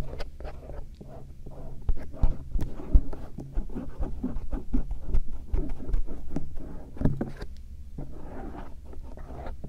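A bamboo earpick, held by fingertips, slowly scratches along the ridges of the silicone ear shells of a binaural microphone. The result is soft, close scraping and rustling with a deep low rumble, irregular light strokes and brief ticks, and almost no high content.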